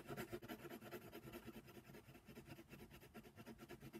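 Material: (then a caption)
Paper. A hand shades a giraffe's ear on a paper coloring book page lying flat, using rapid strokes of a brown colored pencil. About fourteen quick, bright, scratchy strokes of pencil lead on paper are heard in a steady rhythm.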